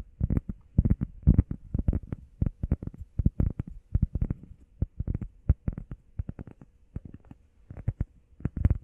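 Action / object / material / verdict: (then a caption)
tap / foam workout pad / foam / none. A heart-shaped grey textured foam workout pad, flat and solid and held in both hands, is tapped and scratched quickly with the fingertips and nails. The result is a fast, irregular run of soft, dull, low thuds with brief scratchy bursts and no ringing after each hit.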